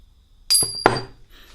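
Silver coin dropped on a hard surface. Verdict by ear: Real.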